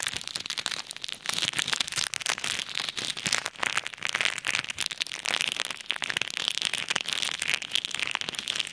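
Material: Plastic.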